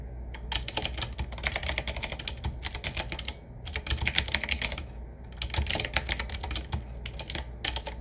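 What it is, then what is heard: Mechanical keyboard being typed on. Fingertips of both hands type steadily on a 7Keys typewriter-style mechanical keyboard: a medium-size, hollow-cased board with round black keycaps in metal rings set in a wood-finish frame. Rapid, bright, sharp clacks arrive in dense bursts, with brief lulls around 3.5 and 5 seconds, over a faint low hum.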